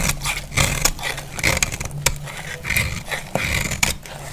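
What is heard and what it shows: A solid, dry purple bar of soap held in the hand is repeatedly shaved with a metal utility-knife blade, peeling off curled flakes. Each stroke makes a crisp, bright scraping rasp with a soft low rumble underneath, and the strokes come in quick, uneven succession.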